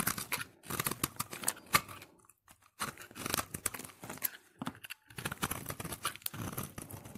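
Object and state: Soap bar scraped with a blade.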